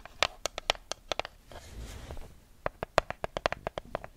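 Long nails riffle and scratch the edges of a small neon-yellow paper sticky note pad held close to the mic. About 17 sharp, dry paper clicks are heard, with a softer rustling scratch in the middle before the quick flicking resumes.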